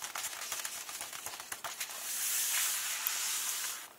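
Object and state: Paper book pages being scratched and rubbed.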